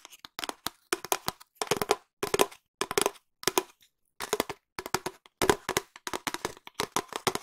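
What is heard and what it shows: A long, empty, hollow cardboard tube is tapped with long nails and fingertips in fast and slow bursts. The taps are short, dry and hollow with a resonant mid-range body, and crisp clicks from the nails. They come in clustered runs separated by brief pauses.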